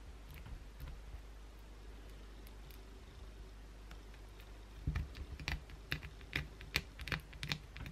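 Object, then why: Solid bar of soap. Long blue acrylic nails scratch the surface of a solid white bar of soap held in the hand. Faint, soft scraping over a low steady hum gives way after about five seconds to louder, irregular bursts of sharp, bright scratches and clicks.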